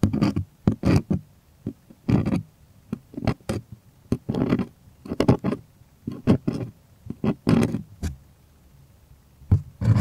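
Long fingernails scratch and tap the taut, hollow-backed surface of a white stretched, primed cotton artist canvas held close. Irregular bursts of dry, scratchy rasps and short drum-like taps carry a low, hollow body and a bright hiss. Brief quiet gaps separate the bursts.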